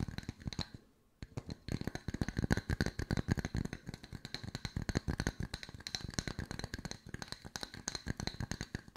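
Two small, solid, round wooden log-slice coasters with bark edges, one held in each hand, are tapped and scratched with long white nails. After a brief quiet pause near the start, a rapid, steady string of short, dry, low knocks follows, with light scratchy clicks on top.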